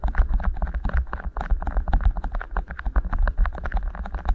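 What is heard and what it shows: Fingertips rub and squeeze two matching beeswax-coated cotton wraps, each rolled into a hollow tube around one capsule of a Tascam recorder's mics. The result is a dense run of quick, crinkly rubbing bursts riding on a heavy, boomy low rumble, with short crackles reaching up into the high range.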